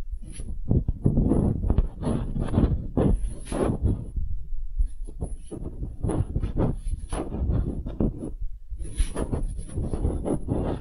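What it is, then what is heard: Wooden half sphere, tapped and scratched. Long nails tap and scratch a small solid wooden half sphere, making dense bursts of soft, low, hollow knocks and rough scraping. The sounds come in clusters with short pauses, and a faint high whine sits above them throughout.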